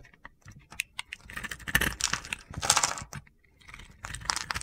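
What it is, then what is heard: Soap bar being carved. A metal box-cutter blade scrapes pre-scored cubes off a solid cream soap bar with a purple glitter edge, held in a hand with red nails. Bright, crisp crunching and crackling bursts come in uneven clusters with short quiet gaps, as the crunchy cubes break away.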